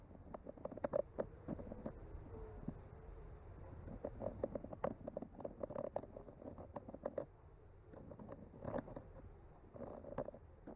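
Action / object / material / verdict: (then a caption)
scrape / painted wooden board traced with a bamboo skewer / wood / none. A bamboo skewer with a clipped-on mic slowly traces and lightly taps along the painted branches of a flat, solid, painted wooden art panel. Soft, dry scratching is broken by frequent quick taps with a faint woody tone around 580 Hz. The sounds stay quiet and muffled, with almost no bright edge.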